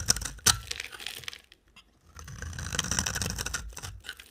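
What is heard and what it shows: A utility knife blade scrapes a solid orange-brown amber bar of soap, making dry, bright, crackly scratching with a sharp louder stroke near the start. After a brief near-silent pause, a longer run of steady, gritty scraping follows.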